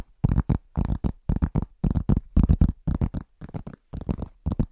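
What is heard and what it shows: A large, round, flat, solid cork trivet is held upright and tapped quickly with the fingertips of both hands. The result is a fast, uneven run of soft, dull, low thumps with almost no brightness, each dying out almost instantly.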